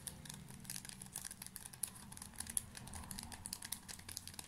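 A full small pocket pack of paper tissues in a thin plastic wrapper is squeezed and crinkled with fingertips close to the mic. Dense, quiet crackles and crinkles fill the clip, with bright sparkly snaps over a soft low rumble of handling.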